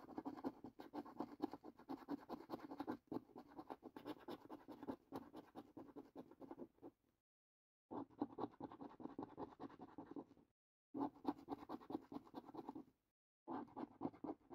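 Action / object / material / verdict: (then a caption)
scrape / thin cardboard scratch card scraped with a coin edge / cardboard / none. A metal coin edge scratches the top symbol panels of a fresh, thin cardboard paper lottery scratch card held flat. Four bursts of quiet, dense, gritty scraping are separated by brief pauses, with a papery rasp centered around 300 Hz.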